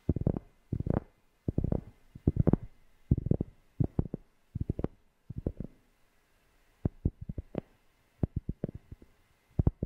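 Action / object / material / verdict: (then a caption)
tap / cork object / cork / none. A cork object is tapped close to a FIFINE K690 microphone, producing deep, bassy, muffled thumps with almost no ring. The taps come in quick clusters separated by short quiet gaps, with the later ones sparser and sharper.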